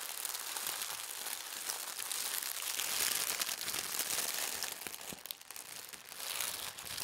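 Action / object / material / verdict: scrape / thin tissue paper / paper / none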